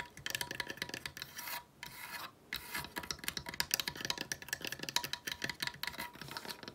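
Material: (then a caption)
Wood. A small decorative wooden sled made of weathered slats with a rope pull is held in hand and rapidly scratched and tapped with long nails. The result is a dense stream of dry, bright scraping and quick clicks with almost no ring, broken by two brief pauses early on.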